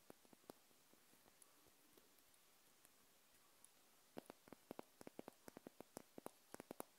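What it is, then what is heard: Glass candle jar. Long nails tap and scratch a small wax-filled glass jar candle held sideways in the hand. Soft scratching and a few scattered sharp clicks give way to a quicker run of crisp, bright taps in the second half, about 19 in all, each dying away almost instantly.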